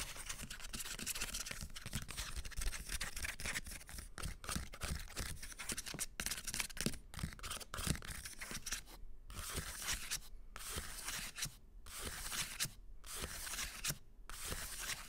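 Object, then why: Hardcover book with paper dust jacket. Long green-painted nails scratch and tap along the paper dust-jacket spines of a solid stack of hardcover books, including *The Ghost Bride*. The result is a steady, dense, bright scratching texture with quick taps and a low rumble underneath, broken by short silent gaps in the last third.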